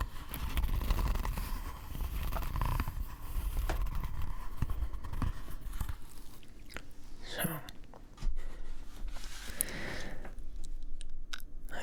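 Fingers tap and scratch the leather-wrapped cover of a first hand-bound book, producing a dense run of soft, dull taps and crinkly scraping, mostly low in tone. The sounds are close and quiet, with a brief louder patch near the end.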